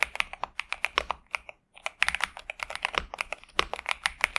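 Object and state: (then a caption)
Mechanical keyboard with plastic keycaps. A pink and purple 65% Xinmeng M71 mechanical keyboard with TTC Superman and plastic keycaps sits on a desk mat as both hands type continuously with their fingertips. About 26 sharp, bright plastic clacks with very short decay come in quick bursts, with a brief pause near the middle.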